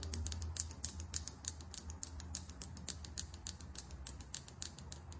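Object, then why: Small plastic lip gloss tube with metal cap. Long acrylic nails tap fast on a small, filled lip gloss tube with a chrome cap held in the hand, producing 36 quick, irregular taps. Each tap is a short, bright, dry click that dies away almost at once, over a steady low hum.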